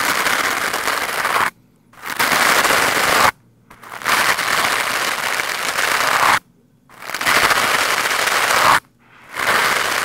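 A lime-green plastic scrub brush with stiff bristles is swept fast across a black foam microphone windscreen. It makes dense, harsh, crackling scratches that fill the range from low to bright, loudest around the upper mids. The scrubbing comes in five sustained bursts separated by brief near-silent pauses.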